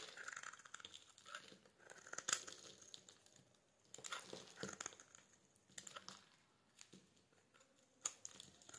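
A palm-sized bar of solid white soap is held in the hand and scraped with a metal blade, making flakes crumble off. Quiet, dry, crinkly scraping comes in irregular bursts with a few sharper crunchy snaps. The sound is bright and crisp with almost no low end.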